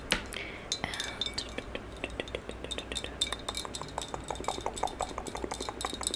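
Long yellow acrylic nails tap rapidly on the side of a medium maroon glossy hollow ceramic vase held horizontally. The result is a quick, uneven run of bright clinking clicks, each dying away almost at once, over a faint steady low hum.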